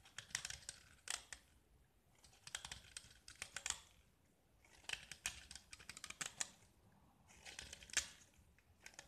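A small, solid gypsum brick painted orange and white is held in the hand and scraped with a metal utility knife, shaving off white gypsum flakes. Four bursts of dry, bright, crackly scraping ticks are heard, separated by brief quiet pauses, with little low-end and almost no ring.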